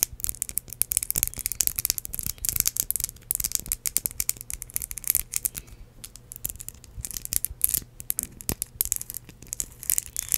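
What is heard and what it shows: Long acrylic nails tap and scratch a small ridged red glass perfume bottle with a metal cap, which holds liquid. The result is a steady, dense stream of quick, crisp clicks and bright scratching textures with very short ring, mostly in the high range, with soft low thumps underneath.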